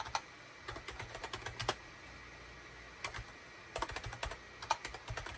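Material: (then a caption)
Plastic. Fingertips of both hands type rapidly on a SHIPADOO K600 full-size wired USB keyboard with a gray plastic case, cream, gray and orange plastic keycaps and a hollow body, resting on a desk mat. Quick bursts of sharp, bright plastic clicks come in clusters, separated by short quiet pauses. Each key press decays almost instantly with a hollow, clattery tone.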